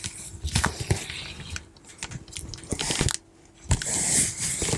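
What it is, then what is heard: Cardboard box. Long manicured nails tap and scratch the flat front face of a large, closed, hollow corrugated cardboard shipping box sealed with clear tape and held upright. Short, dry taps stand out with low thumps, mixed with rough scratching and crinkly rustles that fade in and out.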